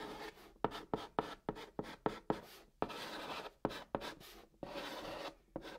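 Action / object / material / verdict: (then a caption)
scrape / chalk on cardboard box top / cardboard / none. A white chalk stick held in the fingertips writes Korean letters on the hollow top of a large, flat brown cardboard box. Sharp, dry taps alternate with gritty scratching strokes as the chalk drags across the surface. Each tap dies away almost instantly, leaving longer stretches of rasping scratches in between.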